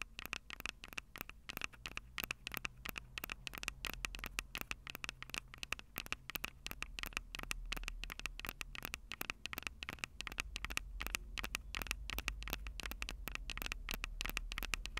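Long purple nails tap and scratch on the metal microphone capsules of a Tascam DR-05 recorder. Dense, rapid clicks and scratchy taps run continuously, bright and sharp, with a low rumble underneath.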